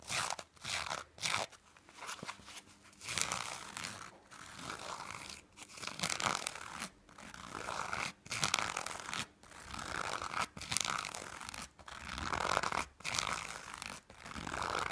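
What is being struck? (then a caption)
Knit fabric. Short fingernails scratch the surface of a small piece of black knit fabric held in the hand. The result is dry, rasping, bright scratching in irregular bursts separated by brief pauses.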